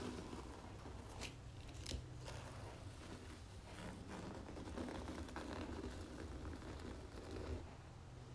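Long natural fingernails tap and scratch the front cover of a large red, embossed, cloth-covered hardcover book lying flat on a marble surface. Quiet, dry scratching and soft ticking taps sit over a steady low hum, with a few sharper taps standing out.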